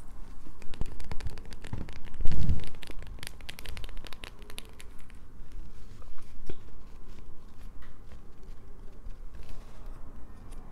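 A solid light-blue bar of soap is held up and scratched with long acrylic nails. The result is a dense run of dry, crackling scrapes and crumbly crunches. The scratching is busiest and loudest in the first few seconds, then settles into softer, steady scraping.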